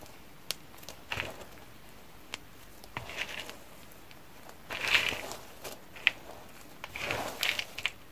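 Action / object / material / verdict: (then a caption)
drop / soap flakes in a container / soap / none. A blue nitrile-gloved hand presses into a heap of cream and pink dry soap chips in a yellow container, grabbing handfuls and letting the chips fall. Bursts of bright, crunchy crackling and rustling come in waves, scattered with sharp dry clicks that stop almost instantly, over a quiet background.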